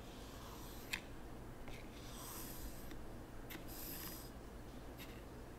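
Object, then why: Fine white sand in a small wooden tray, raked with a wooden rake. A hand drags a small wooden T-shaped rake across a flat, empty layer of fine white sand in a small wooden zen garden tray, smoothing and scraping the surface. Soft, gritty scraping strokes swell and fade over a low, steady background rumble, with a few sharp, brief clicks and bright hissy sweeps. The sound stays quiet throughout.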